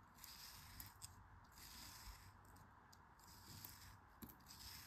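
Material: Kinetic sand.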